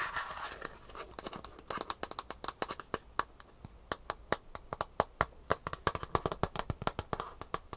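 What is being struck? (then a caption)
Shoe insole with plastic heel cup and foam base. Long fingernails tap and scratch the rigid green plastic heel cup, fitted with metal rivets, on the underside of a Superfeet shoe insole with a gray foam base. A brief scratchy rustle opens the clip, then a fast series of about forty sharp, dry, bright clicks follows, each dying away almost at once.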